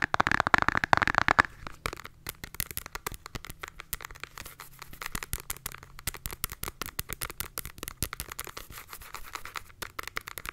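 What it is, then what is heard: Cardboard eyeshadow palette. Long nails tap fast on the front and edge of a flat rectangular cardboard eyeshadow palette held in both hands. A dense, louder flurry of crisp clicks opens the clip, then settles into a steady stream of quick, dry, short taps with a papery, mid-bright tone.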